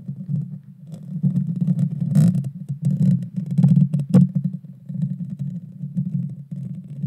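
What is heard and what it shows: Long dark fingernails of both hands scratch the hollow metal mesh grille of a Blue Yeti Nano microphone. The scratching comes through as a dense, low, rumbling scrape centered near 184 Hz, swelling and fading in uneven waves. A few sharp, bright crackles break through, strongest around two, three and a half, and four seconds.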